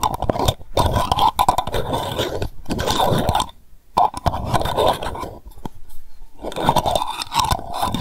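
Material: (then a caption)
Glass, tin. A small lavender candle jar made of glass with a tin lid is held in the hand while long nails rapidly tap and scratch around the lid edge and the glass, possibly twisting the lid. The sound is a dense run of quick, dry scraping clicks with a midrange emphasis, broken by a few short pauses.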